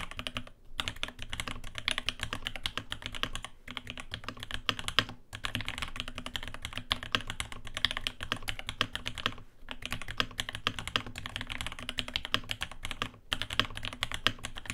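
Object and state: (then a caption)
Mechanical keyboard typing. Both hands type continuously with their fingertips on a navy RAMA WORKS Lake U80-A 80% mechanical keyboard with Alpaca switches, an aluminium case, a brass plate and ABS keycaps. The rapid, dense key taps are bright and clacky, with a low thock underneath, and each stroke dies away almost at once. The run is broken by a few brief pauses.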